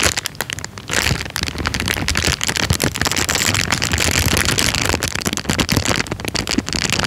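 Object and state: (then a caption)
Clear plastic bag. A thin, clear, empty plastic bag is crumpled and rubbed between the fingers and thumb close to the microphone. It makes a dense, continuous crinkling and crackling, bright and sharp, with quick snapping bursts over a steady rustle.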